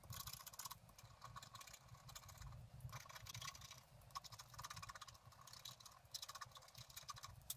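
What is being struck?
Black-coated scratch art paper card scraped with a wooden stylus.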